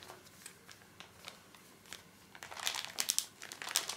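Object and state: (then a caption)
Plastic-wrapped pocket tissue pack, crinkling. A full, small pocket pack of paper tissues in soft plastic film is held upright and squeezed and rubbed with the fingertips, making the film crinkle. Quiet, scattered crinkles and ticks come first, then the crackling grows louder and denser in the second half. The sound is bright and crisp, with almost no low end.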